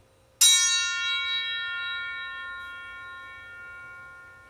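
A hanging aluminum bar is struck once at about its middle to compare the tones it produces. It gives a single bright, bell-like metallic strike with a dense cluster of high overtones, strongest near 3.9 kHz. Steady tonal partials then ring on and fade slowly over several seconds.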